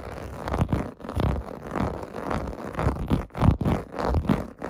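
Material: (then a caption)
Plastic. Fingertips and nails scratch across the rows of small raised bubble bumps on a large, flat, clear-blue plastic/vinyl bath mat lying on carpet. The result is a steady series of rough, dry scraping strokes that swell and fade irregularly, with a soft, low-heavy texture and a gritty, ticking edge.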